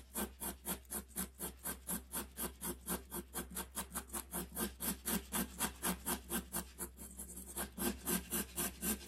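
A graphite pencil held in the hand makes short, repeated hatching and scratching strokes on the axe handle area of a drawing on a large, flat, solid sheet of white drawing paper pinned to a board. About 27 quick, dry, raspy strokes come at a steady rhythm of roughly four per second, each a brief scratchy burst reaching into the high range. A constant low hum runs underneath.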